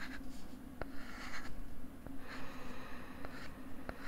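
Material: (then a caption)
Plastic. A pink plastic stylus scratches strokes across a flat pink plastic LCD writing tablet held close to the mic. Soft, raspy scraping swells and fades with each stroke, broken by a few sharp taps over a low, steady hum.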